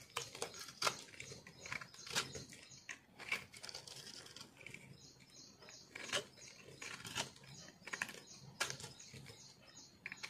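A yellow-green speckled, solid multicolor soap bar is held in the palm while a metal knife blade scrapes and cuts the dry, crumbly soap. The result is a run of quiet, bright, crisp scraping and crunching sounds with short, sharp clicks that die away almost instantly.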